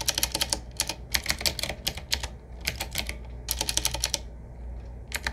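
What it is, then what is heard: Retro mechanical keyboard. Fingertips of both hands type on a 7Keys retro typewriter-style mechanical keyboard, a medium-size board with round black keycaps set in metal rings on a wood-finish frame with a hollow case. Bright, sharp clacks come in quick bursts, each dying away almost instantly, over a faint low steady hum. The typing runs in uneven flurries with brief pauses, the longest near the end before a final few keystrokes.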